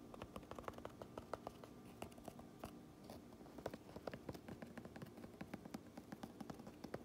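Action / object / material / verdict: tap / cotton baseball cap / cotton fabric / none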